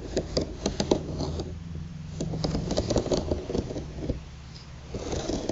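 Long, pointed, polished nails tap and scratch across a flat bamboo slat placemat held together with string, lying on a table. Quick, dry clicking taps mix with rough, ridged scraping as the nails drag over the slats. A steady low hum sits underneath.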